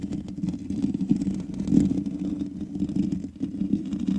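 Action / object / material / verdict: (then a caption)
scrape / metal mesh microphone grille / metal mesh / none. Long nails of both hands scratch the black metal mesh grille of a large USB condenser microphone with a hollow head. The result is a continuous stream of rapid, rasping scrapes over a boomy, low hollow resonance, swelling and fading as the strokes continue.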